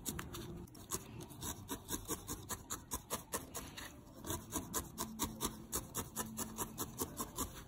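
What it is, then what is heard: Needle-felted wool ball. A small, solid grey-lilac needle-felted wool ball held in the fingertips is stabbed again and again with a thin steel felting needle. Each stab makes a short, bright, rasping rub, and the pokes come at an uneven pace of roughly two per second over a soft low background.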